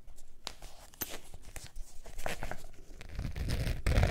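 Long nails scratch across the face of a beige textured faux leather zip wallet, making dry, rasping strokes with bright, crinkly, tearing-like streaks. The scratching is quiet and close, with a low rumble that grows louder toward the end.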